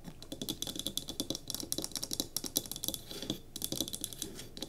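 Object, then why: Small pine wooden block candle holder. Long fingernails tap and scratch quickly on the sides of a small solid pine cube candle holder holding a tealight and resting on a table. The result is a dense run of crisp, dry clicks and scrapes with a bright, high edge and a light woody body, each hit dying away almost instantly with no ring.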